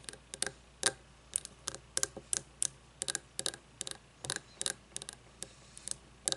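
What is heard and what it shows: Long nails tap and scratch the outside of a frosted glass candle jar with no lid and the wax partly used. The result is an irregular run of quick, bright, clicky taps, some in close pairs, each dying away almost instantly, with faint scratchy texture between them over a quiet background.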